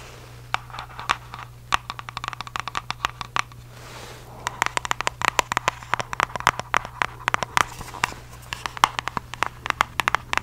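Long fake nails rapidly tap and scratch the surfaces of a small, palm-sized, hollow red printed cardboard shoe box held close to the mic. Dozens of sharp, dry clicks with a hollow ring around 1.1 kHz and bright crackly edges come in quick bursts, with a brief lull near the four-second mark. A faint steady low hum runs underneath throughout.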